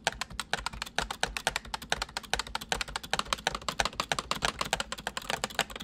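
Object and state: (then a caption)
Plastic mechanical computer keyboard. Fingertips of both hands type steadily on a white full-size plastic mechanical computer keyboard. The result is a fast, continuous run of short, bright clacking keystrokes that die away almost instantly, with very little low end.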